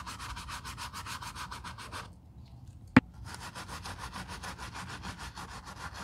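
A wooden bristle brush scrubs the foamy upper of a black quilted leather ballet flat in quick, even rasping strokes. After a brief pause and a single sharp tap, it resumes scrubbing along the top edge.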